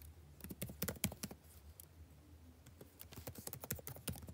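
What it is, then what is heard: Plastic laptop keyboard being typed on. Fingertips type continuously on the blue-backlit plastic keycaps of a dark laptop keyboard, making rapid, quiet clicking taps with short, dry ticks. The taps come in bursts, thin out in the middle and pick up again, over a faint steady low hum.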